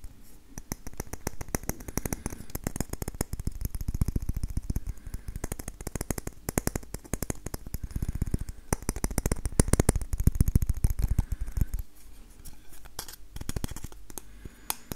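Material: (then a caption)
Wood. An orange-brown, hand-sized wooden maraca with a round hollow head and a handle is held in one hand while the fingertips and nails of the other hand tap and scratch it. Rapid, irregular, dry, dull taps and scratches come in dense runs with no ring. They grow louder around the middle and then quiet toward the end.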